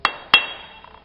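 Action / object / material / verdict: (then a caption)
tap / clay brick / fired clay / sound. A clay brick is tapped twice before being cut with a hammer and bolster, giving two bright, high-pitched clinks that ring briefly. The clear, hollow ring shows it is a good brick with no crack, since a cracked brick would not cut in the right place.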